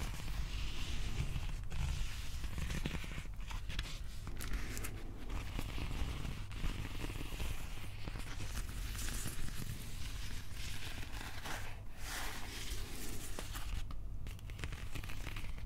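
Fingertips scratch and tap the wrapped, textured plastic handle of a Stormbreaker replica prop axe held in both hands. A steady, close scratchy rustle is heard with soft taps scattered through it, over a constant low rumble.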